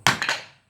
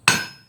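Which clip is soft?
The first.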